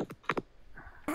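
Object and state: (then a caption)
Plastic action figure tapped on a microphone. A Padme Amidala action figure is tapped against a microphone, producing a quick series of short, hollow clicks and knocks with a faint rustle in between. The last tap is the loudest.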